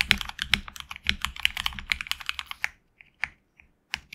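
Fingertips type continuously on a HyperX Alloy Origins Core, a tenkeyless mechanical keyboard with HX Red switches, PBT plastic keycaps on an aluminum plate and a hollow case. A fast run of sharp, bright clacks centered around 2 kHz is heard, each dying almost instantly. It then thins to a few scattered keystrokes separated by silence.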